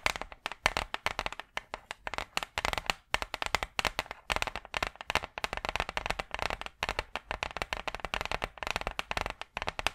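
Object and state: Hardboard clipboard tapped and scratched with nails.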